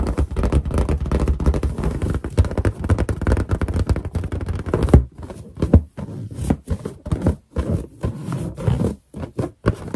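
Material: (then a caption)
Latex. Finger pads rub quickly over a large, hollow, inflated white latex balloon, making squeaky friction sounds with a heavy low, thumpy body. For about the first five seconds the rubbing is dense and continuous, then it breaks into shorter, separate squeaky bursts with brief silences between them.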